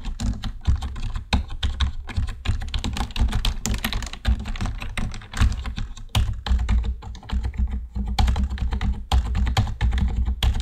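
Fingertips of both hands type steadily on a black plastic computer keyboard for about ten seconds. The keystrokes come as a dense run of short, dull clicks and thunks that stop quickly, with a deep, low-heavy body and little brightness.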